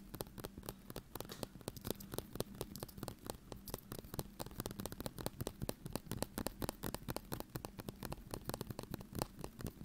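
A small glass ketchup bottle with a white cap, partly full of red ketchup, is held in both hands and tapped and scratched with the fingertips and nails. The result is a fast, steady stream of short, dry clicks and taps over a low hum, with quick scratchy crackles between them.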